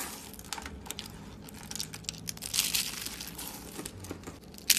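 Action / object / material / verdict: scrape / soap rose flakes crushed in a hand / soap / none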